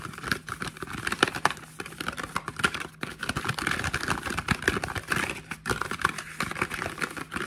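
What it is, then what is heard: Cardboard product box. A small, hollow printed cardboard product box is held in both hands and turned while fingertips and short nails tap and scratch across it. The result is a fast, irregular stream of dry, papery taps and scratchy rustles with a hollow midrange tone and almost no ring after each touch.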